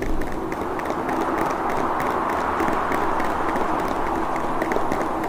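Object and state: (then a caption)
Plastic blister pack. Fingertips and nails tap and scratch across the face of a clear plastic blister package holding a red speaker. A steady, dense crackling scratch runs throughout, with faint tapping ticks scattered through it.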